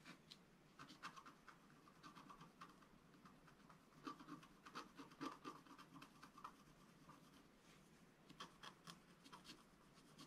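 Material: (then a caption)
Coated paper. A wooden stylus scratches fine detail near the lower right of a flat scratch art paper sheet lying on a table. Quiet, dense, grainy scratching strokes come in quick, uneven bursts, with a bright rasping edge and a faint tonal squeak around 1.2 kHz on the firmer strokes.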